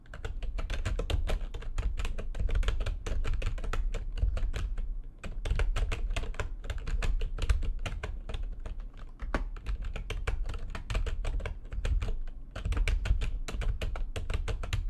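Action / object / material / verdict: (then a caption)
tap / plastic computer keyboard / plastic / none. Fast typing with long nails and fingertips on a full-size plastic backlit computer keyboard produces a rapid, steady stream of short, dry key taps with a deep thumpy low end. The typing runs in quick bursts, with brief pauses around five, nine, and twelve and a half seconds.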